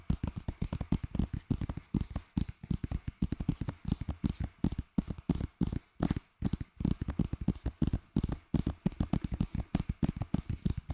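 Fingers tap rapidly and continuously on a plastic Lord of the Rings DVD case received as a Christmas gift. The many quick, dry taps are short and muted, with a low, hollow body that gets fuller in places. Brief pauses break up the run, around two and six seconds in.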